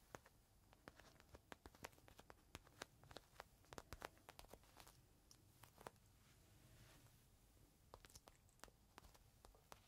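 A small clear plastic bag holding a folded green microfiber cloth is held in the hand while fingertips scratch and crinkle the plastic. The result is a quiet, steady stream of sharp, bright crackles and ticks over a soft rustling bed, with a brief smoother scratching passage near the end.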